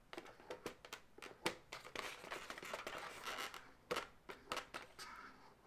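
Long nails tap and scratch an inflated, hollow light pink latex balloon segment with an uninflated tail. Sharp, quick taps with bright, squeaky-dry tops come at an uneven pace, with a stretch of continuous rubbery scratching in the middle of the clip.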